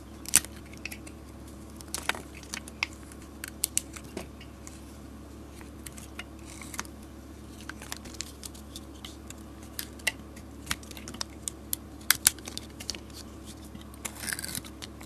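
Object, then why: Bar of soap cut with a blade. A utility blade peels and carves a solid green soap bar coated in red glitter. Sharp, bright scraping clicks and crisp cutting ticks come in irregular bursts over a steady low hum, with a brief rustling flurry near the end.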